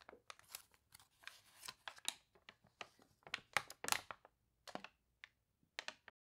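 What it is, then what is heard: Water-wrinkled glossy paper crinkling. Fingertips and nails turn the water-warped glossy pages of an open paper toy catalog, crinkling the wrinkled paper. Quiet, bright, irregular bursts of crunchy crackling come one after another with brief pauses between them.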